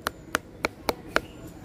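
A finger taps a red-skinned but completely raw, very hard, sour mango, giving five short, dry, evenly spaced clicks and a fainter sixth. Each click has a bright tone near 1.4 kHz and dies away at once with no ring. The hard, dead knock marks the mango as unripe.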